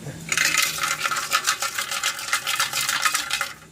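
A removed catalytic converter from a 1997 Honda Accord (code P0420) is shaken, and broken pieces of its ceramic honeycomb rattle loudly inside in a dense run of bright, clinking hits for about three seconds. Although the honeycomb looked intact and unmelted, the loose rattle shows the converter is bad.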